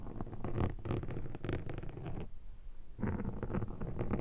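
A metal pick scratches and scrapes across a black foam microphone windshield, making dense, close, low-heavy crackling and rustling. The scratching stops briefly past the midpoint, then starts again just as thick until the end.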